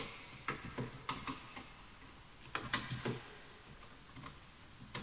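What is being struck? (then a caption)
Bamboo wooden computer keyboard. Fingertips type on a full-size bamboo wood computer keyboard with wooden keys, and the mouse is left untouched. Irregular, quiet, clicky taps come in loose bursts, each a short woody tick with a bright top and a soft low knock that dies away quickly.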